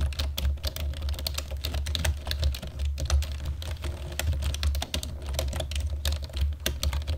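Fingertips and nails of both hands type rapidly on a black plastic computer keyboard, producing a dense, continuous stream of sharp, bright clicks and clacks. A steady low hum runs underneath throughout.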